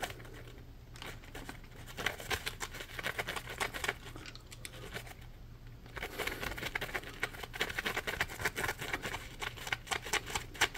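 A yellow Scrub Daddy sponge, a hand-sized solid piece of textured polymer foam, is held in both hands and scratched with the fingernails. It makes dense, bright, dry scratching and crinkling rasps that start quiet, grow busier after about two seconds, ease off briefly near the middle, and return louder and more rapid for the second half. A faint low hum sits underneath throughout.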